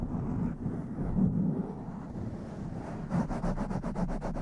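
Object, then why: Foam microphone windscreen. Long nails and fingertips scratch and brush the sides of a blue foam windscreen on a black microphone. The result is a muffled, low, rumbling rustle that shifts in intensity for about three seconds, then turns into a quick, rhythmic run of brighter scratching strokes.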